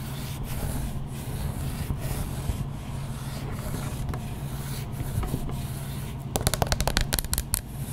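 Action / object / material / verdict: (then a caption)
scrape / wax candle shell over a plastic inner pot / wax / none. A battery-powered candle with a wax outer shell and a plastic inner pot is scratched and tapped up close on its wax surface. A steady, soft scratching fills the first six seconds, followed by a burst of quick, sharp taps near the end.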